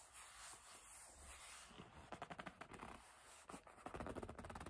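Long nails and fingertips rub and grip the flat leather face of a hollow black leather bag. A low, steady rubbing hiss gives way to bursts of short, sharp squeaks and scrapes that carry into the highs, with no speech.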